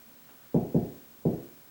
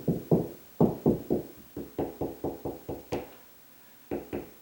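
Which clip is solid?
The second.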